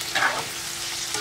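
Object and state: Nothing is struck.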